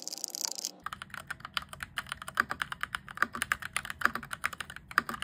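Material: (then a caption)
Plastic. A close-up RGB-backlit mechanical keyboard with cream and grey plastic keycaps and an orange plastic frame is typed on rapidly with fingertips. After a brief bright hiss at the start, a fast, irregular stream of short, crisp keystroke clicks follows, each decaying almost instantly, with a midrange body and bright edges.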